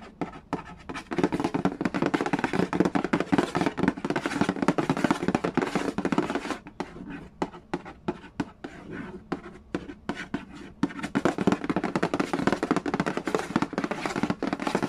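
Fingertips tap rapidly on the lid of a hollow cardboard Yahtzee board game box, making a dense patter of short, dry, hollow knocks with little ring. The tapping is busiest at the start and end, with a sparser, quieter stretch in the middle.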